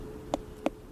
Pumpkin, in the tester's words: you can kind of tap on it lightly and if it sounds Hollow which it does